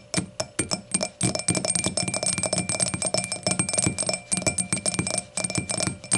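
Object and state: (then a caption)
Glass hurricane glass tapped with nails. Long nails tap rapidly on the edge and face of the solid round foot of an empty glass hurricane glass lying on its side, with its stem and foot in view. The quick, uneven taps make short, bright glassy clicks with a faint high ring and a soft low knock, each dying away almost at once.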